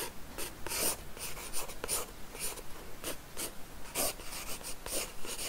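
A pencil lead scratches short, quick strokes across the page of an open paper sketchbook on a wooden desk while sketching hair. The result is a series of dry, papery scratches with bright hiss, separated by brief pauses over a faint low hum.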